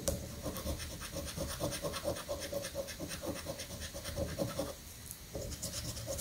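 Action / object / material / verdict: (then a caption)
scrape / paper scratch-off ticket scraped with a coin edge / paper / none. A coin edge scratches the latex coating off a thin paper scratch-off lottery ticket pinned flat on granite. Quick, rhythmic rasping strokes with a bright, gritty edge run over a low rumble, pause briefly near the five-second mark, then resume.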